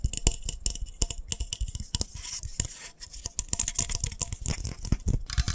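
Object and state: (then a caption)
Glass lightbulb. A small, hollow, white frosted glass lightbulb is tapped fast with fingertips and nails. The result is a rapid run of short, sharp clicks and taps with almost no ring. Each tap carries a dull low thump and a bright, glassy tick.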